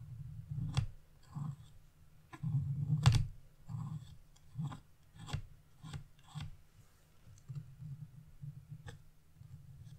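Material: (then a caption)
Coated paper. A narrow metal chisel tip scratches small leaf areas into a flat black-coated scratch-off art page lying on a wooden table, using short strokes. Quiet, dry rasping scrapes come in short bursts with sharp little clicks between them, and most of the energy sits low with a soft, dull tone.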